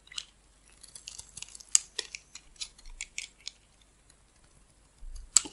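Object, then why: Bar of soap cut with a metal blade. A metal blade slices and carves chunks off a solid rectangular red bar of soap held in the hand, with red soap pieces piled around it. Eleven crisp, bright cutting snaps come in a quick run, pause, then end with a louder final slice. The sound is quiet and almost entirely high-pitched, with very short, dry decays.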